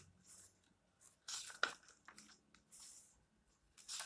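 Fingertips rub and turn the paper pages of a small open paperback, making a soft, crinkly rustle. Bright, brief bursts of paper noise come and go, with one sharper crinkle standing out near the middle.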